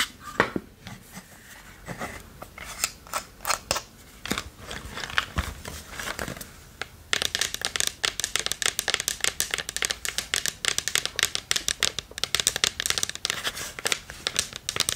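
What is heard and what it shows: Long nails scratch along the side of a small, hollow, varnished wooden chest with sparse, dry, bright scrapes and clicks. Then, with the chest held in both hands, fingertips and nails tap rapidly on its front, giving a dense run of short, crisp, bright taps with almost no ring.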